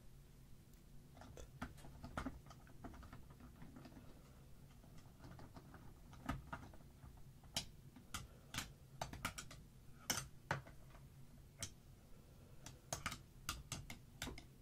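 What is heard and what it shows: Two thin dark sticks tap and patter on the plastic barrels of markers sitting in a tray, with no other objects moving. Irregular, sharp, bright clicks come in loose clusters over a steady low hum, each dying away almost at once.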